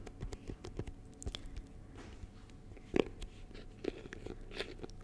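A small, clear, rigid plastic box with a yellow label, full of honeycomb, is held close to the mic while fingertips and short nails tap and scratch its sides. Quiet, dry clicks and scrapes come in a scattered run, with a sharper, louder tap near the middle and another soon after. Each sound stops at once with no ring.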